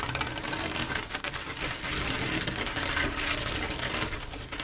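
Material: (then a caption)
Glass. Long acrylic nails tap rapidly across a large, solid, flat glass mosaic tile picture made of silver mirror-like tiles. The result is a dense, steady stream of bright, crisp clicks with a light low hum underneath, dipping briefly just after the first second before continuing evenly.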